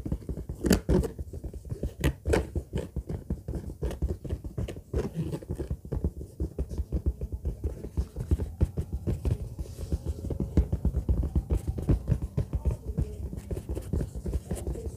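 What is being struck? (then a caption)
Faux-leather bag. Long fingernails of both hands scratch and tap the top of a large orange textured faux-leather bag with a zipper, lying flat. A steady stream of quick, dull, low taps mixes with soft scratching, each hit dying away almost instantly, with a few brighter clicks standing out.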